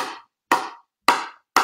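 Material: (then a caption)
Composite. An older GX5 composite honeycomb pickleball paddle is tapped four times while held in the air, each tap a sharp, bright knock centered near 1 kHz that dies away within a fraction of a second. The old paddle sounds hollow and cardboard-like rather than like a solid honeycomb paddle.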